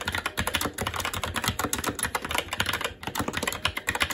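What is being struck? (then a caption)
Mechanical keyboard with plastic keycaps and metal plate. A SteelSeries Apex 7 TKL mechanical keyboard with red linear switches, plastic keycaps and a metal top plate is typed on continuously by the fingertips of both hands. The result is a steady, dense stream of short, bright plastic clacks with a low thud under each press and no pauses.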